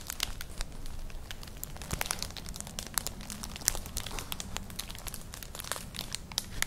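Long nails scratch across a flat, colourful, hollow woven straw-like clutch purse, producing a steady stream of dry crinkling, crackling scrapes. The sharp, bright ticks rise over a low rumbling bed and die away almost instantly.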